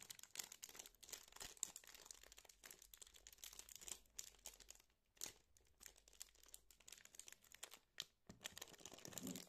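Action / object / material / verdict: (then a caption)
scrape / turrón bar in plastic wrapper / plastic film / none. A rectangular chocolate peanut turrón bar, full and solid inside its glossy plastic packaging, is held in both hands while the wrapper is crinkled and squeezed with the fingers. Dense, bright, crackling crinkles with sharp snaps fill the clip, broken by a few brief quiet gaps.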